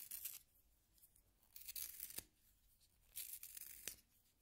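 A solid yellow wooden pencil is rotated in a small pink plastic hand sharpener held by fingers, and the blade shaves the wood. Three bright, high, raspy shaving bursts stand out against quiet pauses, and two of them end in a short sharp click.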